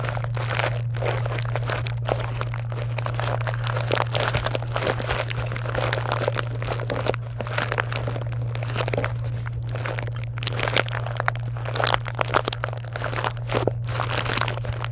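Long nails scratch and crinkle across a pile of foil and plastic wrapped chocolate bars in a box, making dense, continuous crinkling with frequent sharp bright crackles. A steady low hum sits underneath throughout.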